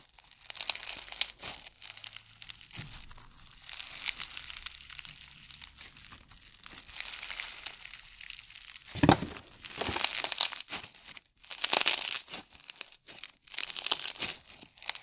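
Pink foam-bead slime is pulled apart and pressed with fingers, giving a steady run of bright crackling and crinkling pops. Louder bursts of crunching come near the end as the slime is squeezed harder, each dying away almost at once.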